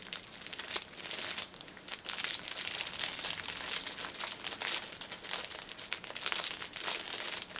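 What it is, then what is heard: Plastic-wrapped pack of pocket tissues. A hand-sized six-pack of soft pocket tissue packets, wrapped in thin cellophane film and filled with tissues, is held up and then laid flat while long painted nails tap and press on the crinkly wrap. The result is dense, bright crinkling and crackling with quick sharp taps, almost no low end, and short dips between bursts of handling.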